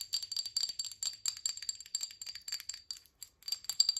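Long acrylic nails tap and scratch a small, hollow amber glass supplement or oil bottle with a white label and black cap. Rapid, bright clicks and scratchy brushing carry a thin, high glassy ring that dies away almost instantly, with a brief silent gap before the tapping resumes.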